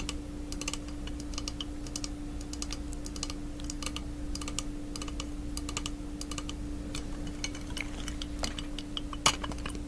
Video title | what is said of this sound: ASMR - Sharing Some of My Art/Clay Tools (Part 2) | It doesn't have the same sound with liquid in it.